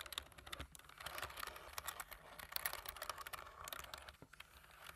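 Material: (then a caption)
Plastic. Fingertips of both hands, with medium nails and a large metal ring on one finger, type across many keys of a full-size black plastic keyboard with low-profile keys and a light frame. The result is a quiet, continuous patter of short, bright clicks and taps that stop almost instantly, with little low end.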